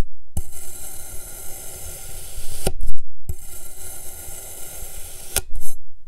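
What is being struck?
Packed kinetic sand cut with a metal knife.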